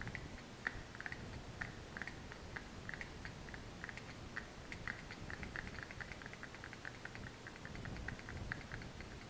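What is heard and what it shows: A small brown kraft cardboard box with a printed label is held close and tapped rapidly with long nails. The result is a quiet, steady stream of short, dry clicks with a papery tone centered near 1.8 kHz, each dying away almost instantly over a faint low rumble.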